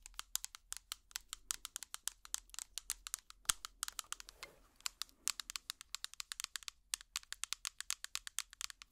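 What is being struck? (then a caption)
Small plastic tub with lid. A small, hollow clear plastic tub with an orange lid is tapped rapidly with plastic finger picks. About sixty quick, bright, clicky taps come in an uneven stream, each dying away almost instantly with almost no low end, and a brief scratchy rustle around the middle.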